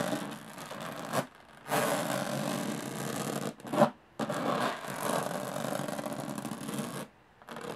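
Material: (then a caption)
Aluminum. Long nails scratch and rub the textured lid of a closed, hollow aluminum carry case. Long, raspy, broadband strokes are heard, separated by brief pauses, with one sharper scrape standing out midway. The case gives a dry, hollow-sounding rasp with little ring.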